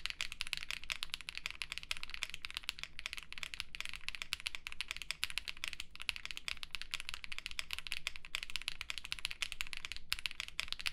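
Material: ABS plastic.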